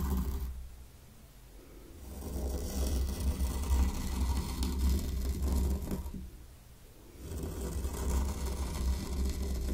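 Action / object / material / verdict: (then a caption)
scrape / fine sand in a small wooden tray / sand / none. A small wooden rake held in the fingertips is dragged through fine white sand in a small hexagonal wooden zen garden tray, raking lines into it. Soft, grainy scratching swells and fades in long strokes, with quieter lulls in between, over a steady low rumble.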